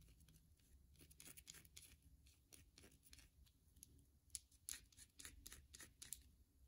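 A palm-sized solid white bar of soap, carved with faceted edges and held in one hand, is tapped and scratched with long glossy mauve acrylic nails, with soap shavings lying on a wooden table below. Quiet, dry, bright clicks and scratchy rasps come in quick irregular bursts with no ring after each touch, over a faint low rumble.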